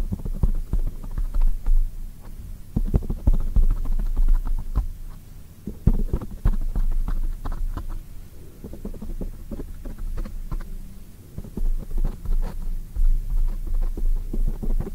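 Long acrylic nails tap and scratch a black foam microphone windscreen. Irregular, rapid, muffled low thumps and soft rubbing rumble, with almost all of the sound deep and bassy and nothing bright.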